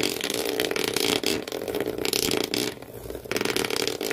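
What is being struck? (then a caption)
Cardboard shoe box. Thumbnails, then all the fingernails, scratch fast across the corrugated cardboard floor inside an empty shoe box. The result is a dense, rough, raspy scratching with a bright hiss over a steady mid tone. It eases into a quieter stretch near the three-second mark before the fast scratching picks up again.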